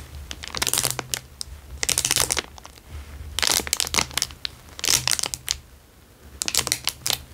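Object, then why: Thin clear plastic wrapper. A square clear plastic wrapper lying on a fabric surface is pressed and scratched with fingertips. It gives five bright, crisp bursts of crinkling and crackling, separated by short quieter pauses, over a faint low steady hum.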